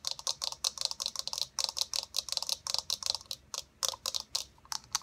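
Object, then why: Plastic eyeball ball. Long nails tap fast on a hollow white plastic eyeball sphere with a blue iris. About two dozen quick, dry, bright clicks sound in uneven bursts, each stopping short with no ring.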